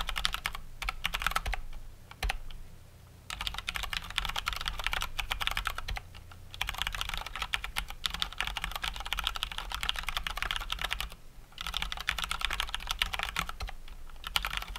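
Both hands type with their fingertips on a full-size Cox Dauntless mechanical keyboard with Cherry MX Brown switches and plastic keycaps. The result is a steady stream of bright, crisp plastic key clacks over a faint low hum. The typing briefly pauses near the start and again toward the end.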